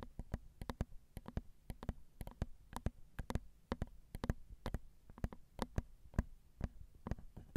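Long acrylic nails tap the small, hollow, crossed silver metal X/Y microphone capsules on a Zoom recorder. About 31 short, dry taps land at an uneven pace, each heard as a close, deep thump with a faint bright click on top. Each tap dies away almost at once over a quiet background.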